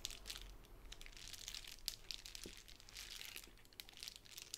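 A plastic bubble wrap sheet on a table is scratched and pressed with long nails. Soft, bright crinkling and scratching come with sharp little clicks and pops scattered throughout, over a faint low rumble. The sound stays quiet and close.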